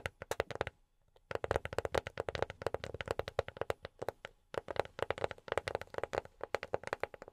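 A box is tapped with silicone rubber pads on the fingertips, producing rapid bursts of short, soft, dry taps with a midrange knock and almost no ring. A brief pause near the start and another around the middle separate the fast, fluttering runs of tapping.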